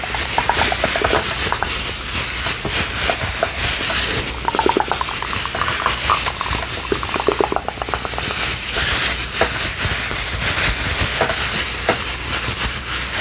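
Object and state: Nothing is struck.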